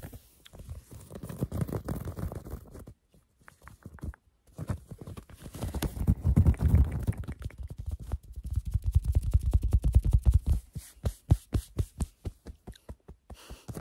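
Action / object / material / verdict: scrape / cotton fleece sweatshirt with raised embroidery / cotton fleece / none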